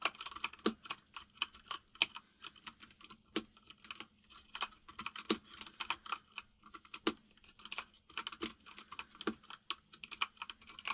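Fingertips of both hands type on a full-size mechanical keyboard with white and grey plastic keycaps and a hollow case. The repeated key taps are quick, bright clicks that stop short, coming in an uneven, steady run with brief pauses, over a faint low hum.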